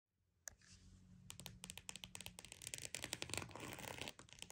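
A croc-embossed purse is tapped and scratched with quiet, dry taps that build into a busy flurry of sharp, bright clicks and rough scratching across its textured surface. Each tap is short with almost no ring, over a faint low hum in the first half.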